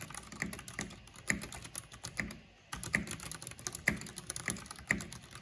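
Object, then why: Plastic mechanical computer keyboard. Fingertips and long painted nails type on the keycaps of a full-size black plastic mechanical computer keyboard with purple RGB backlighting. Rapid, irregular clicky taps with a bright edge ring out around 2 kHz, pausing briefly near the middle before the typing resumes. Each keystroke is sharp and short with almost no ring.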